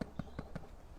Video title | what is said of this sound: Kitchenwareking Malaysia - Making Homemade Bread On The Barbeque - Weber | give it a little tap if it sounds hollow it's ready